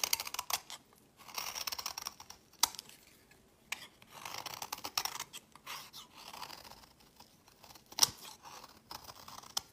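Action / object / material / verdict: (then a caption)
scrape / bar of soap scraped with a metal blade / soap / none. A solid white bar of soap held in hand is scraped and shaved with a metal utility knife blade, with the flakes piling onto a woven mat. Dry, crisp scraping bursts of bright, high hiss come in uneven strokes, with a few sharp clicks standing out between them.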